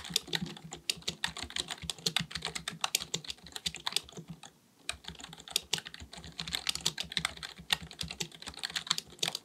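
Both hands type rapidly with their fingertips on a black, full-size, hollow-bodied plastic keyboard resting on a desk, likely a mechanical one. The keys make a continuous stream of short, bright clicks with very little low end, with a brief pause just before the midpoint before typing resumes.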